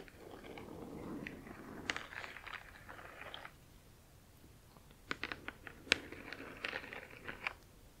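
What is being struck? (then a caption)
Printed cardboard box with glossy surface. Long acrylic nails tap and scratch the glossy printed front of a large cardboard Spirograph box. A soft, continuous scratching comes first, then a brief lull, then a run of crisp, bright taps with quick, dry decays.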